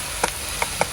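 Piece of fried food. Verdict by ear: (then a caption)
Crisp. A piece of food fried in oil in a pot, flipped and checked for colour, gives three short, crisp crunching clicks over a faint steady hiss. The crunch shows it is properly fried.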